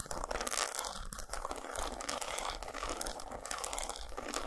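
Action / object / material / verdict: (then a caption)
scrape / dark chocolate bar / chocolate / none. Long nails tap and scratch rapidly across an unwrapped solid dark chocolate bar with squares and a diagonal textured surface, lying on a towel. The result is a dense, steady stream of dry, crisp, crinkly scratches and small taps with bright hiss and little low end.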